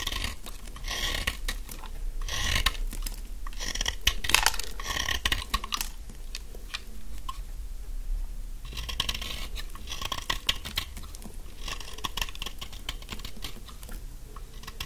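A very thin remaining stick of dry yellow bar soap, held in the hand, is shaved with a utility knife blade. Dense, rapid crisp scraping and crunching runs throughout, with bright peaks over a low rumble. It swells around 2–6 seconds and again from about 9 seconds.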